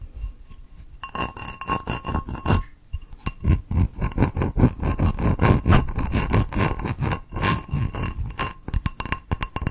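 Long nails scratch the textured outer surface of a small, hollow, empty teal ceramic bowl with a raised geometric pattern. The result is a rapid, irregular run of raspy scraping strokes, heavy in low-frequency rumble, with a faint ringing tone near 1 kHz and higher harmonics. Brief pauses break the strokes at around 3 and 7 seconds.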